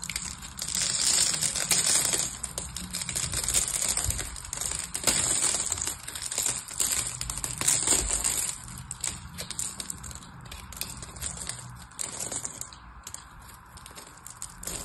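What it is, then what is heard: Bar soap being carved. A craft knife blade carves the crosshatch-scored face of a palm-sized, solid rectangular bar of purple soap held in one hand, and small cubes of soap crumble off. The sound is a dense run of crisp scraping and crumbling with many quick, bright ticks over a steady high hiss, easing somewhat in the second half.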